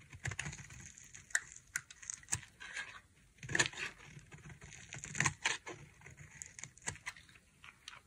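A dry, solid, palm-sized green bar soap, held by a hand with long nails, is carved with a utility knife blade into stringy shavings. Crisp, bright scraping and crackling cuts repeat irregularly with short, dry decay, some sharper snaps standing out above a soft, scratchy texture.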